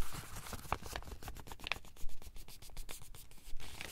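Fingers and thumbs rub and flex the pages of a thin printed paper instruction booklet held in bare hands. The result is a quiet, dry scratching and crinkling rustle, with short scraping strokes over a low, dull undertone. Brief brighter crackles stand out now and then.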